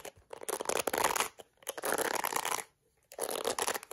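A small plastic detangling hairbrush with a yellow plastic back is cupped in a hand while long acrylic nails scratch its bristles and tap its back. Three bursts of dense, crackly scratching with bright, high rasping are separated by short quiet gaps.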